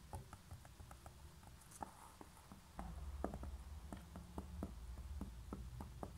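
Long nails tap and scratch the base and sides of a small, hollow grey concrete pen holder turned upside down with a label on its base. Quick, irregular, dry clicks mix with soft scratching over a low hum that grows louder about halfway through.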